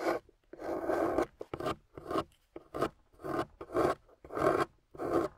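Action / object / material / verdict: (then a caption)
scrape / clay bar scraped with a metal loop tool / clay / none. A metal loop tool on a wooden handle carves a solid, water-soaked, gold-painted clay bar on a table. Ten separate raspy scraping strokes, mostly in the mid range, rise and fall with short pauses between them.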